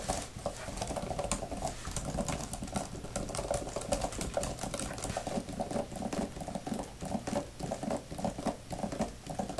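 Long nails and fingertips type and patter on the flat plastic keys of a thin grey type-cover laptop keyboard. A dense, steady stream of soft, quick clicks and taps runs throughout, each tap dying away almost at once, with a faint midrange tone beneath.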